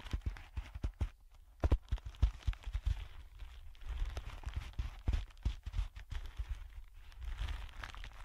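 A thin sheet of clear plastic wrap is pressed flat over a dark surface and crinkled and rubbed under the fingertips of both hands. Soft, dull taps and thumps sit mostly in the low end, with faint crackling and brushing in between. Busier stretches of continuous rubbing alternate with sparser, sharper presses.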